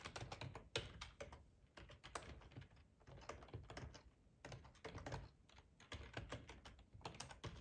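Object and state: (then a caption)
Plastic computer keyboard. Fingertips of both hands type on a black plastic ergonomic split computer keyboard with a hollow housing, lying on a tablecloth. Rapid, uneven keystrokes come in quick bursts with brief pauses, each tap a short clack with a hollow low thump beneath a bright click. The taps die away almost instantly.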